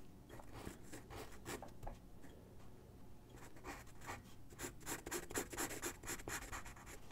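A graphite pencil sketches on a single white sheet of drawing paper resting on a wooden desk. Quiet, dry scratching strokes come in quick, irregular bursts, growing busier and a little louder in the second half with a bright, papery hiss over a soft low rumble.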